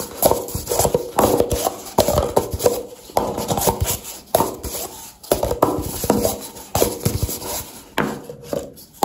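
A nested stack of empty, hollow brown paper cups, held in the hands, is tapped and scratched quickly with long dark-painted nails. The result is a rapid run of dry, papery taps and scratches with a hollow midrange ring around 500 Hz, coming in short bursts that fade between strokes.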